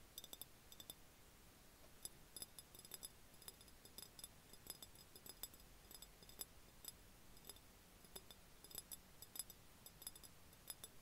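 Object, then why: Glass jar. An empty, hollow, clear glass jar with an open mouth and threaded neck, lying on its side and held in both hands, is tapped with the fingertips and nails. The result is a quiet, irregular series of light, sharp clinks and ticks with a bright, high glassy edge that fades almost instantly, over a low background hiss.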